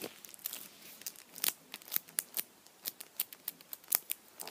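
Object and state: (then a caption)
Foil-wrapped chocolate bunny, crinkling foil. A hand-sized Kinder chocolate Easter bunny, solid chocolate inside and wrapped in blue printed aluminium foil, is held lying down and squeezed and rubbed with fingertips and nails. The foil gives off a quiet, irregular run of sharp, bright crinkles and crackles that stop instantly, with almost no low end.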